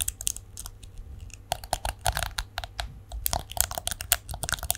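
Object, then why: Plastic hairbrush. A plastic detangling hairbrush is held in both hands above a microphone while fingernails scratch and flick along its rows of bristles. Quick, dry plastic clicks and scratchy crackles arrive in uneven bursts, with a faint ring around 700 Hz and bright high-end snaps over a low rumble.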